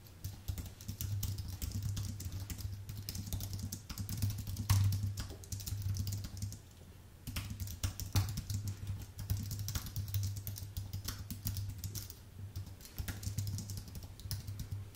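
Fingertips type fast on a white, full-size Apple Magic Keyboard with plastic keycaps on an aluminium base, producing dense, crisp clicks with bright high ticks. The typing runs in bursts with short pauses, over a steady low hum.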